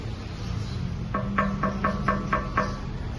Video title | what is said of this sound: Vlog 04 - 🇵🇭 Vigan et le défilé du festival des fleurs | de là dire que ça sonne du métal je sais pas ça sonne poterie